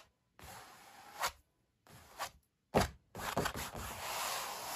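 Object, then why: Stretched canvas oil painting. Fingertips rub and scratch back and forth across the textured paint of a stretched oil painting on canvas. Bursts of dry, bright scraping alternate with brief silences, and sharper tapping peaks stand out within them. The clip ends in a longer, steady stretch of scratching.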